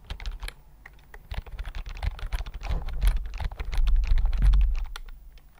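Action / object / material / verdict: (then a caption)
tap / plastic computer keyboard / plastic / none. Fingertips type quickly on a slim white plastic computer keyboard held close to the microphone. Rapid, uneven clicks with a deep, close thump grow louder through the middle of the clip and soften again near the end.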